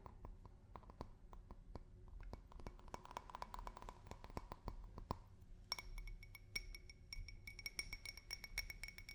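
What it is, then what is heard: Drinking glass. A drinking glass is tapped with fingers and nails in a quick, uneven run of light clicks and chinks. The first half carries a soft ring around 1 kHz; later taps bring out a clearer, brighter glassy ring higher up. It is all played quietly over a low background rumble.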